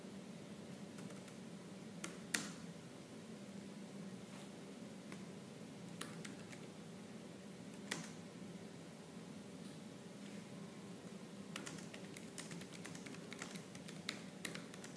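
Fingertips with purple nails type fast and hard on a laptop keyboard with black plastic keys. Sharp, bright key clicks and taps land irregularly over a steady low hum. The keystrokes are quiet and short, with little ring.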